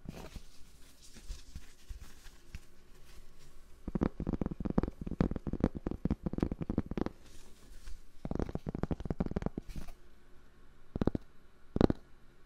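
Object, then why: Cork board. Fingers tap and scratch a cork board for ASMR, making soft, dull, low-pitched taps with quick, dry decay. The taps come in dense rapid bursts, separated by quieter scratchy rubbing, with a few sharper, brighter taps near the end.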